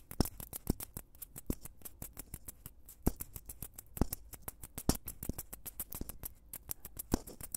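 Two small, solid white foam blocks are held in both hands just in front of the microphone and squeezed and scratched with fingertips and nails. The result is a quiet, rapid run of short, crisp crackling clicks and scratches with bright edges and a soft low rumble underneath, with a few sharper pops standing out.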